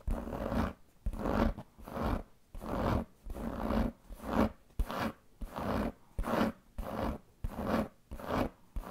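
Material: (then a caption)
Leather. Long painted fingernails scratch the surface of a large black pebbled leather handbag with a metal buckle. The result is a series of rough, dry scratching strokes, each about half a second long and separated by brief silences, at a slightly uneven pace of roughly 90 per minute. The sound is full in the low and middle range, with little brightness on top.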